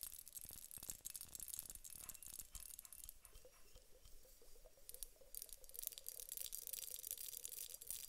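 Long nails tap the upper bulb of a glass hourglass filled with gel water beads, making quick, quiet, bright clicks. The hourglass is then tilted, and the taps give way to a soft, continuous rustling and sliding as the beads shift inside, with a faint wavering mid tone underneath.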